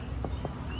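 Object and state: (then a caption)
Hollow concrete sculpture. A concrete sculpture at a skate spot is tapped twice, giving two dull, low knocks with a short ring that sound hollow.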